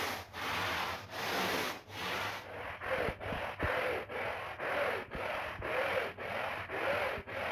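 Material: Woven fabric.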